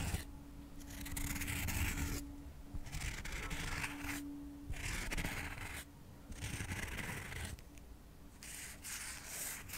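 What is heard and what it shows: Cotton swabs are rubbed and scraped quickly over a stack of square cork coasters, a solid flat material. Bursts of dry, bright scratching alternate with short quieter gaps, over a faint steady low hum throughout.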